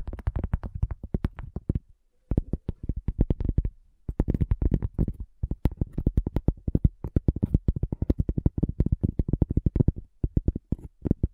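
A cork coaster is tapped in quick, uneven bursts, giving dull, low thuds with short pauses between runs. Each tap dies away almost instantly, leaving a soft, muffled knocking.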